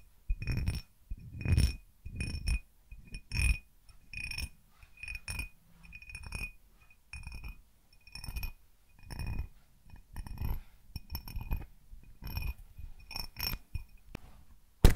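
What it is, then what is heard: Cut glass tumbler being tapped. Fingertips and nails tap and clink an empty, hollow, faceted crystal-style cut glass tumbler in irregular bursts. Each tap gives a soft low thud with a short, bright glassy ring, and the clinks fade quickly between quiet gaps.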